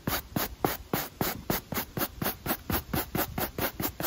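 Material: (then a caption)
Rubber. A stiff pale-bristle brush held in the fingers scrubs back and forth across the black textured rubber outsole of a sneaker while cleaning the shoe. The result is a steady run of seventeen quick, dry scratching strokes with bright hissy bristle noise.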